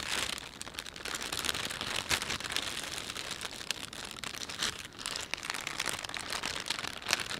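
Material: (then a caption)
Plastic. Fingertips of both hands rub a thin, empty plastic panda shopping bag lying flat, in a massage-style motion. The result is a steady, bright crinkling and crackling with little low end, with small sharp crunches popping out throughout.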